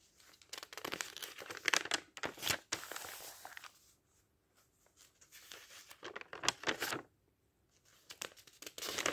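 Fingertips of a ringed hand flip and brush the thin printed pages of a thick paperback dictionary lying open, turning them in bursts. The crisp, bright rustling and papery crinkles come in quick clusters, separated by near-silent pauses around the middle and near the end. There is almost no low end.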